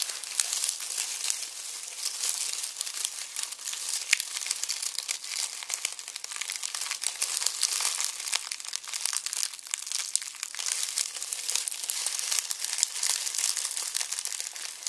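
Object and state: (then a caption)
Dry onion skins crushed in a mesh bag. Both hands squeeze and crush a red plastic mesh bag of dry, papery onion skins. A dense, continuous crinkling and crackling runs through the whole clip, bright and high with almost no low end, rising and falling slightly as the bag is worked.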